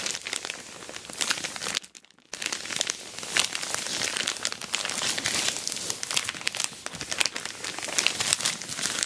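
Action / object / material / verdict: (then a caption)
scrape / plastic mailer bag wrapped around a box / plastic / none. Long black acrylic nails and fingertips scratch, rub and press an orange glossy plastic Temu shipping bag tightly wrapped around a medium-size rectangular boxed package holding a dual camera dash cam, lying flat on a patterned cloth. Dense, bright crinkling and crackling fills the clip, broken by a brief near-silent pause around two seconds before the rustling resumes steadily to the end.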